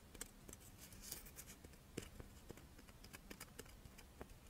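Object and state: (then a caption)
Chocolate monaka wafer. A crisp rice-wafer chocolate monaka, held in both hands, is scratched and tapped with long painted nails. About sixteen short, dry clicks and taps come through over a soft, scratchy rustle, each with a bright crackle and almost no ring. The sound stays quiet and close throughout.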